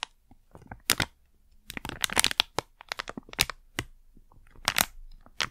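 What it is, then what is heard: Plastic packet crinkled. A small, flat, sealed plastic Blu Tack pouch is held in both hands, crinkled and scratched with long nails. Sharp, bright crackles and crinkles come in irregular bursts and clusters with quiet gaps between them, each snap dying away almost instantly.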